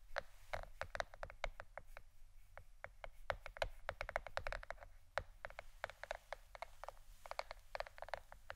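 A plastic board shaped like a shirt is tapped with the fingernails in quick, irregular bursts. Each tap is a short, dry click with a clear mid tone around 580 Hz and a bright edge that dies away almost instantly, over a faint low hum.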